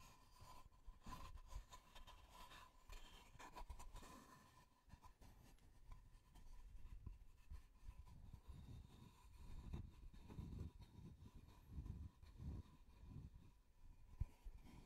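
A solid, plate-sized wooden tree-slice disc, cut across a log with visible growth rings, is held close to the microphone and scratched and rubbed with the fingertips. The result is quiet, dull, low scratching and rubbing in uneven bursts. A faint steady tone runs underneath the first few seconds.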